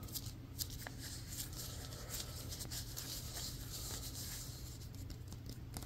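A yellow, solid, stitched synthetic leather softball is gripped in the hands while fingernails scratch and tap along its seams. Quick, bright scratchy clicks and taps sit over a steady low hum, staying quiet and fairly even throughout.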